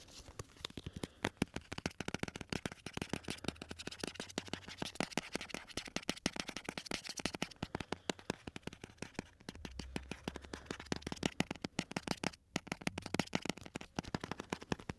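A small glass jar with a lid, full of colorful candies, is held up and tapped with fingertips and nails. The result is a fast, dense stream of short, sharp clicks and light rattles that die away almost instantly. A faint low rumble runs underneath throughout.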